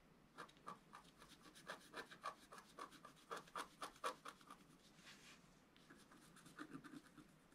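A wooden stylus scratches near the lower part of a flat, thin, black-coated scratch art sheet. It makes a quiet, rapid series of short, dry scratches with a thin rasping tone around 1.1 kHz and bright, airy edges. Near the end there is a brief softer rub before a few more light strokes.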